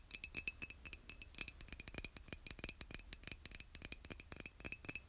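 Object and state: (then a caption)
Ceramic mug tapped with nails. A white glazed ceramic mug, hollow and held by its handle, is tapped rapidly by long nails on its surface. Quick, bright clicking taps with a faint ringing tone follow one another in an irregular stream, each dying away almost at once.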